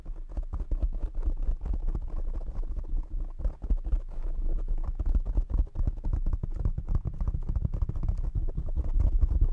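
Fingertips of both hands rapidly tap the black foam windscreen on a desk microphone. The result is a dense, continuous stream of muffled, boomy low thumps centered around 105 Hz, each dying away almost instantly, with no bright or high content.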